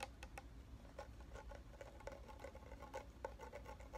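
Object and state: Filled plastic shampoo bottle.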